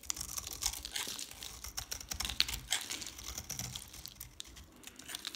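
A palm-sized solid bar of dry green soap with a painted black coating is held in one hand and shaved with a metal utility knife blade, sending curls and flakes falling away. The scraping comes as a dense run of crisp, bright scratches and dry crackles with almost no low end and no ring after each stroke.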